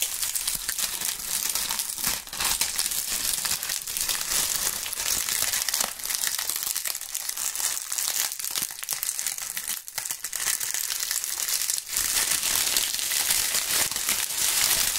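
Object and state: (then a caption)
Dry autumn leaves being crushed. Handfuls of thin, brittle, dry brown maple and oak leaves are crushed and crumpled between the gloved fingers and fingertips of both hands in front of binaural microphones. A dense, continuous crackling and crinkling fills the clip, bright and crisp with almost no low end. The level stays fairly steady, with brief dips around 2, 10 and 12 seconds.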